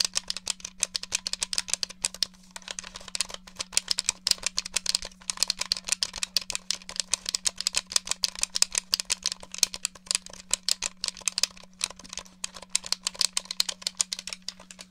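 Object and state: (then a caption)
Plastic game controller tapped and clicked. Long nails tap and click rapidly on the shell and buttons of a silver and black hollow plastic GameCube-style controller held up beside the mic. The result is a dense, continuous stream of dry, bright, high clicks that stop instantly, over a steady low hum.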